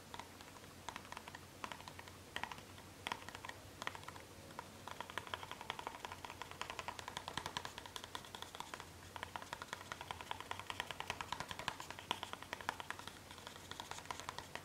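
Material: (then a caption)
Cardboard. Long red-painted fingernails tap rapidly on a small, hollow, rectangular black printed cardboard product box labeled Vampire Blood, held in the other hand. The result is a dense stream of short, dry clicks with a hollow midrange tone around 1 kHz and bright edges, over a faint steady low hum.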